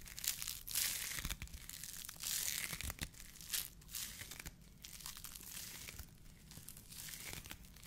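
A white polyethylene foam mesh fruit protection net sleeve is squeezed and crinkled in the fingers of both hands. It gives a steady stream of bright, dry crackling and crunching with brief tearing-like rustles, and a faint low rumble sits underneath.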